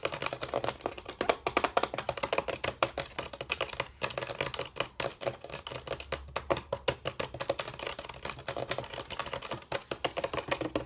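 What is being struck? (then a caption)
Bamboo and rattan chair rails. Fingertips of both hands tap and drum quickly on the hollow bamboo rails of a rattan/bamboo chair frame, producing a fast, continuous stream of short, dry, hollow knocks with a woody mid-range tone around 540 Hz. Each tap dies away almost instantly, and the rapid, uneven rhythm sounds much like typing.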